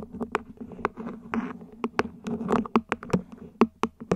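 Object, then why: Ribbed plastic plant pot. Long nails tap and scratch across the ribs of a small, hollow, mint-green ribbed plant pot, probably plastic, set upside down. Sixteen sharp, dry taps land in an uneven rhythm, mixed with brief scratchy rasps along the ridges. Each tap dies almost instantly with a faint hollow body around 230 Hz.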